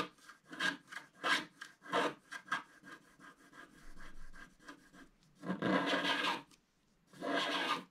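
A wooden stylus scratches the roof area of a black, wax-coated scratch art card lying flat. A run of short, dry scratching strokes comes first, then two longer, sustained bright rasping scrapes with a brief quiet gap between them.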